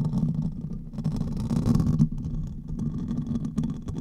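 Fingertips and nails of both hands scratch the hollow metal mesh grille of a silver condenser microphone. The result is a dense, continuous low rumbling scratch centered around 160 Hz, with faint crackly bursts on top, swelling louder in the middle before easing off.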